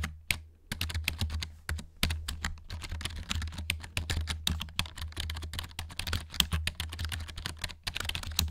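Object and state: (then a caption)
Plastic keyboard. Fingers and nails tap quickly across the keys of a black plastic backlit gaming keyboard held close in front of the mic. A dense stream of short, bright plastic clicks and clacks follows in uneven bursts. A steady low hum runs underneath throughout.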